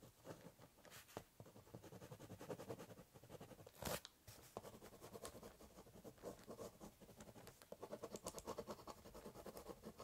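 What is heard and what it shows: A biro drags and scratches across the hollow top of a corrugated cardboard box while drawing. The sound is a quiet, steady run of short scratchy strokes, with a sharper, louder scrape near the four-second mark and denser, faster strokes toward the end.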